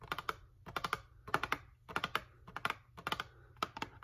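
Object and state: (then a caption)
Cardboard tea box. Long painted nails tap on the printed front of a small, closed cardboard Bigelow Vanilla Chai tea box held in one hand; the box is hollow and likely full of tea bags. About twenty quick, dry, clicky taps come in short bursts with a hollow midrange tone and a bright edge, each dying away almost instantly.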